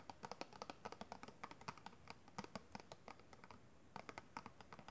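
Fingertips and long red nails tap and scratch across the faces of a small, hollow, clear plastic brush packaging box with a pink kabuki brush inside. The result is a quiet, rapid run of sharp, dry clicks and taps that die away almost instantly, with a hollow plastic tone around 540 Hz. Light scratching fills the gaps between the taps, which pause briefly near the end before resuming.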